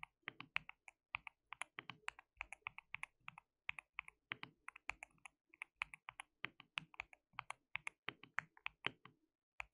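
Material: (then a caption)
Plastic. Fingertips of both hands type on a white plastic mechanical keyboard with translucent keycaps. Dozens of quick, bright plastic clicks come in uneven bursts with short pauses, each click stopping almost instantly. The sound is quiet overall and has almost no low end.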